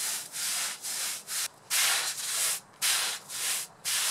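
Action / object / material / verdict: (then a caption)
scrape / wet synthetic fiber rug scrubbed with a brush / synthetic fiber / none. A long-handled scrub brush is worked back and forth across a large, wet black, red and grey patterned synthetic rug lying flat on a concrete floor, cleaning it of mud and dirt. Each stroke makes a bright, hissing scrape with almost no low end, separated by brief quiet gaps in an uneven rhythm.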